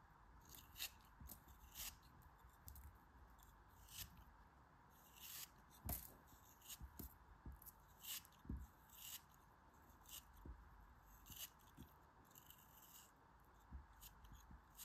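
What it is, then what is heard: Kinetic sand block being cut. A small solid block of kinetic sand, held in the fingers, is sliced and scraped with a metal craft knife blade. A string of short, crisp scraping crunches with a bright, hissy edge and soft low thumps follows, each fading quickly over a quiet steady background hiss.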